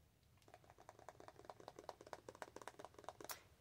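Long acrylic nails tap rapidly along the flat face of a small, soft plastic squeeze tube of Strawberry Whip face primer held up in the air. About twenty quick, quiet, dry clicking taps with a mid-pitched knock come in an uneven rhythm. They end with a sharper, brighter tick near the finish.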